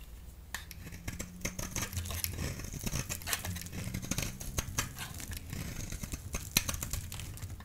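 A solid orange oval Fa bar soap, held in the hand, is shaved into strips with a utility blade. Dense, crisp scraping and sharp clicking cuts repeat throughout over a steady low hum, with bright edges on the strongest strokes.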